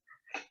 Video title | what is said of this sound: The Manchester College Summer Showcase - Mixology for Existing Students | you listen to this it sounds like cardboard